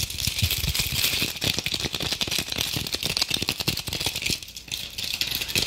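A hand-sized red glitter apple ornament with a stem has its rough, sparkly surface scratched rapidly with long acrylic nails, held close to the mic. A dense, fast rattling scratch of many quick strokes is heard, bright and hissy and concentrated in the high range with little low end. The scratching continues steadily with a brief dip near the end before resuming.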